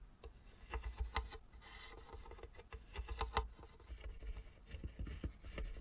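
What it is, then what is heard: Wooden model house. A small, hollow model log cabin made of light wooden sticks is held and turned in the hands while fingertips and nails rub and scratch along its edges. Soft, irregular rasping and scratching strokes come with brief, dry clicks that die away almost at once, over a quiet, low rumble.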